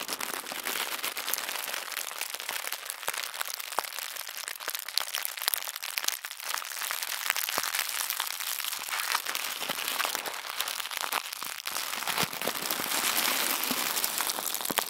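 Both hands squeeze and crinkle thin white tissue paper crumpled into a ball. A dense, continuous crackle of bright, papery crinkles with sharp little snaps and almost no low end runs at a steady level for about fifteen seconds.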